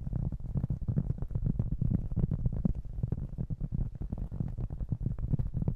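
A round, flat, solid cork trivet about 20 cm across, held in both hands, is tapped and scratched with fingertips and short nails. It gives a steady run of rapid, soft, muffled thumps with a low, hollow tone and a faint scratchy texture. Each tap dies out almost instantly, with no ring.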